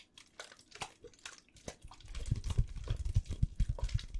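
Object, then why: Plastic water bottle. An empty clear plastic water bottle is crushed and crinkled by hand close up. Sparse, bright crackles and snaps in the first half give way to denser, louder crunching with a heavy low thump in the second half. The clip ends in rapid, irregular crinkling.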